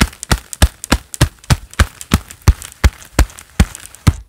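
A pair of black leather gloves worn on both hands clap together quickly, producing a steady run of dull, thumpy slaps with softer taps in between. Each clap is short and low-weighted with a quick, dry decay and a little bright leather crackle on top.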